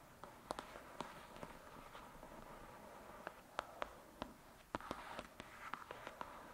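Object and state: Paperback book tapped with fingernails.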